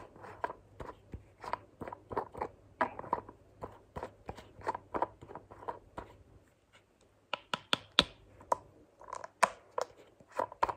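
Fingertips and long nails open and close the green flip cap of a white plastic lotion bottle and tap on the bottle. A steady series of short, dry clicks and taps plays for about six seconds, then briefly pauses. Sharper, brighter snaps of the cap follow, with more light taps.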